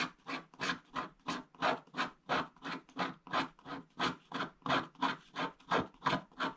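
A wooden stick scratches around an outline drawing on a flat, wax-coated scratch-art page, its black coating over blue foil. About 21 short, steady scratching strokes sound in an even rhythm. Each is a dry, papery rasp centered in the midrange with a bright edge and almost no low end.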